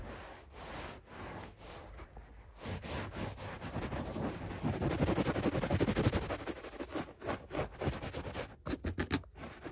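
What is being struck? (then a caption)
Shag carpet. Fingertips scratch and rub quickly over a beige shag carpet on the floor, making dense, soft scratchy rustling with a low, muffled body. The rubbing builds to its loudest, busiest stretch in the middle, then breaks into shorter, separate quick strokes toward the end.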